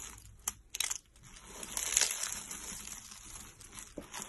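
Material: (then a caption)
Soap. Hands press, squeeze and crush pink-orange hollow dry soap curls into flakes on a white towel. Sharp crunches at about 0.5 and 0.8–0.9 seconds give way to a steady dry crinkling, with a louder crunch near 2 seconds and another near 4 seconds. The sound is bright and brittle, with almost no low end.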